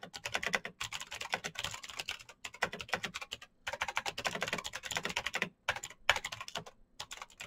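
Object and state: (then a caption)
Plastic mechanical keyboard. Fingertips of both hands type fast on the keycaps of a black plastic full-size Razer BlackWidow mechanical keyboard with clicky green switches, RGB backlight and a hollow case, resting on a desk mat. Rapid bursts of sharp, bright clicks and clacks run in quick runs, broken by a few brief pauses.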